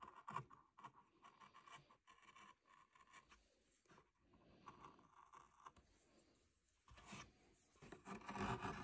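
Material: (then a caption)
Cottonwood bark. A small steel knife held in the fingertips scratches and cuts fine detail at the eyes and hair of a solid cottonwood bark face relief. The sound is a quiet, uneven series of short dry scrapes and nicks with a rasping tone around 1 kHz, ending in a few louder, brighter scratching strokes.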